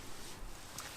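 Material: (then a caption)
Fungus. A solid horse hoof fungus, a bracket fungus found at a camp, is tapped, giving a short, sharp knock that sounds like tapping a bit of wood. The tap comes at the very end of an otherwise quiet clip, and the fungus is not cut open.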